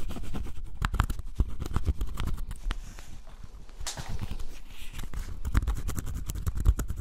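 A pointed wooden stick scratches and scrapes the black scratch-off coating on cardboard jigsaw puzzle pieces, close up. It makes a dense run of dry, rapid scratches and tiny clicks with a heavy low rumble of contact. Brief brighter scraping bursts come through now and then.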